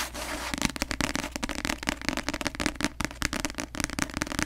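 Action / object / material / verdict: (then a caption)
tap / paperback book, glossy cover / paper / none. Long nails tap rapidly on the glossy cover of a paperback novel held upside down close to the mic, the solid paper block giving each tap a short, dry click. The taps come in a quick, uneven stream of crisp, bright clicks over a soft low hum, each dying away almost instantly.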